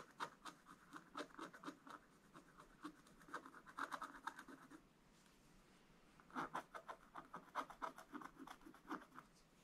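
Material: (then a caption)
Waxed paper. A wooden stylus scratches fine lines into a black, wax-coated scratch art page. A rapid series of short, dry scratching strokes has a rasping midrange around 1.2 kHz and bright edges. There is a brief pause at about the midpoint before the strokes resume.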